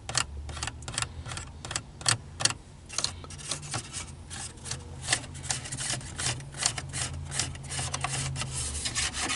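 Fingertips and nails scratch and rub across the slats of a small, hollow, dark plastic car dashboard air vent with louvers and small slider tabs. The result is a quick, uneven run of crisp, bright rasping strokes and short dry clicks over a steady low hum.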